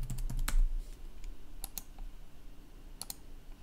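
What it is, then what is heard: Plastic laptop keyboard. Fingertips press the keys of a black plastic laptop keyboard with slow, irregular clicking keystrokes. About eleven short, bright clicks are heard over a low, steady hum, with a denser burst at the start and scattered keystrokes after.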